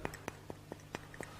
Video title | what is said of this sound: AGA Historical Archives - Lets learn more about gases - English | you can hear it does not sound it does not ring